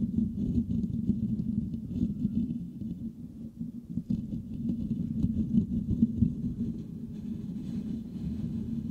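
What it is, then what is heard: Metal mesh microphone grille. The fingertips of both hands scratch and rub the rounded, hollow metal mesh grille of a white microphone. The result is a dense, continuous scratching and rustling with a low, boomy body centered around 200 Hz. Faint high, papery crackles sit on top throughout.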